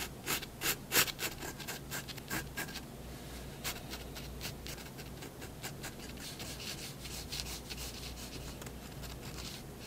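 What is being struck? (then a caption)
Pen on drawing paper over a wooden desk. A fineliner pen tip rubs and scratches long contour strokes along a drawn cat's body on white drawing paper resting on a wooden desk. Sharp, bright scratchy strokes come in distinct louder bursts over the first few seconds, then settle into a steadier, softer, continuous scratching over a faint low hum.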